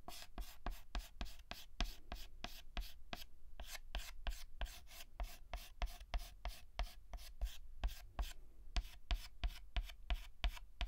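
A white chalk stick fills in a letter on a flat black chalkboard with rapid hatching strokes. About thirty-two quick, dry taps and rubs follow each other in a fast, uneven rhythm. Each has a short, bright scratch over a low thud.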